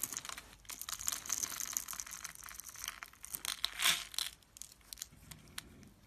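A metal blade scores and scrapes a solid, palm-sized, rectangular turquoise soap bar held in the hand, so small soap cubes crumble off its top edge. The sound is a run of dry, bright, crisp crinkling and scraping bursts with almost no low end, building to a louder, rougher scrape near the four-second mark before trailing off into softer, sparse crumbles.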